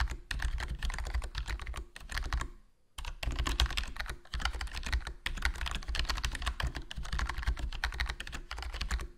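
Fingertips type continuously on a HyperX Alloy Core RGB plastic membrane gaming keyboard with a foam mod, a black plastic body, black plastic keycaps and a hollow case. Dense, soft clacking keystrokes carry a low, thumpy body with little bright content, broken by a brief pause near the three-second mark before the typing resumes.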